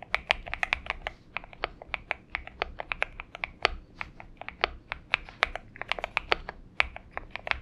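Fingertips of both hands type continuously on a purple-backlit Xinmeng M71 70% mechanical keyboard with an aluminum case and PBT keycaps, resting on a desk mat. About 39 crisp, bright clacks sound at an irregular typing pace, each dying away almost instantly, with little low end beneath them.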